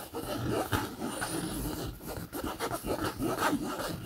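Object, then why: Padded polyester fabric backpack. A bare hand scratches and rubs the surface of a medium-sized, soft, padded backpack made of green camouflage polyester fabric with a yellow-trimmed zipper, using its fingertips and short nails. The result is a continuous dry, papery scraping and rustling that swells and fades in short strokes. It sits mostly in the low-mid range, with little high brightness.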